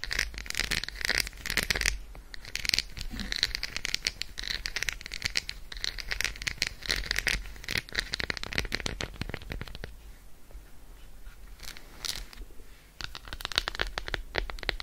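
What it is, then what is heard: Milk chocolate bar. Long acrylic nails tap quickly on the embossed squares of an unwrapped, solid, flat, hand-sized Roshen milk chocolate bar held over a fur rug. The result is a dense stream of sharp, bright, dry clicks with almost no ring. The tapping thins to softer, sparser clicks for a few seconds near the end before picking back up.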